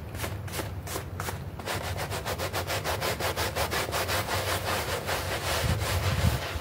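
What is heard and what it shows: A hand brush scrubs a small, foamy green synthetic turf doormat in quick, repeated strokes. The strokes make a bright, bristly rasping over a steady low rumble, growing denser and louder after the first couple of seconds, with a few low thumps near the end.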